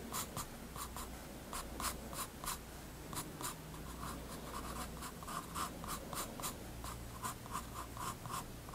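A graphite pencil draws light line strokes on the page of a spiral-bound paper sketchbook resting on a wooden desk. Short, quiet scratchy strokes come in a steady series, each a bright papery hiss with a tone near 1 kHz, over a low, constant hum.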